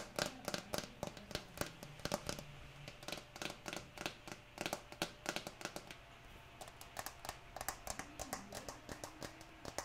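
Long nails rapidly tap and scratch the green plastic screw lid of a small amber jar that appears full, producing dozens of short, bright clicks with a dull tone around 590 Hz. Soft scraping fills the gaps, and steady rain hisses in the background.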